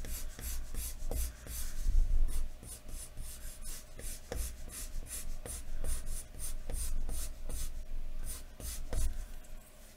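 A wooden graphite pencil is scratched in shading strokes across a large, thin white paper sheet lying flat on a wooden desk. Repeated short, bright, scratchy rasps come in quick bursts over a steady low hum.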